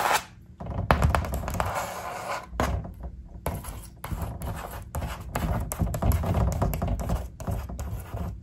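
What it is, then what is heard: Paper poster board. Long acrylic nails and fingertips tap and scratch across a large, flat poster-board vision board covered in paper cutouts and stickers. The result is a steady run of dull, low, papery thuds mixed with dry scratching, broken by a few brief quiet gaps.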